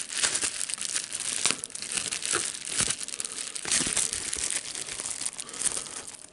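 A rolled piece of clear plastic bubble wrap with air bubbles is held in the hands while fingers squeeze it to pop the bubbles and crinkle the sheet. The result is a dense, bright, continuous crackle with quick sharp pops scattered throughout, very little low end, and almost no ring after each snap.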